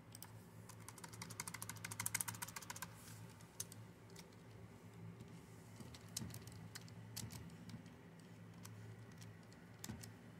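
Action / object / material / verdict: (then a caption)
tap / plastic computer keyboard / plastic / none. Fingertips with long nails tap and type on the keys of a full-size black plastic Dell computer keyboard. A fast, dense flurry of sharp, bright clicks fills the first few seconds, then slows into scattered taps. A steady low hum sits underneath throughout.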